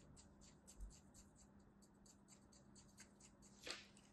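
A palm-sized, solid, compacted block of beige kinetic sand held in an open hand is scratched and scored in parallel lines by a thin blade, then by the tips of a pair of scissors. Quiet, crunchy, crumbly scrapes repeat in short bright bursts over a steady low hum. A louder scrape stands out near the end.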